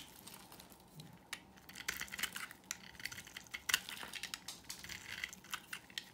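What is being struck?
Soap bar carved with a blade.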